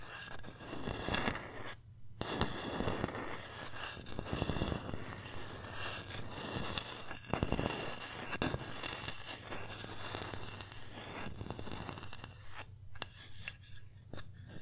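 Long nails scratch and tap across the surface of a flat, solid wooden pumpkin sign engraved with the word "thankful." Dry scraping textures mix with irregular, quick, short taps over a steady low hum.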